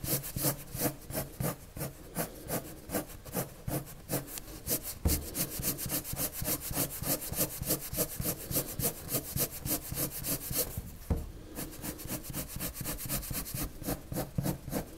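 A colored pencil rubs and scratches strokes into a flat sheet of white drawing paper. The result is a steady run of quick, bright scratchy strokes, about three per second, with a soft low rumble beneath and a couple of heavier thumps along the way.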